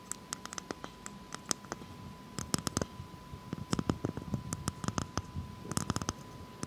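Long fake nails tap and scratch a whole, hollow, brown hairy coconut shell held in the hands. Sharp, dry clicks and taps come in quick, irregular bursts over soft scratching, with a faint steady high tone underneath.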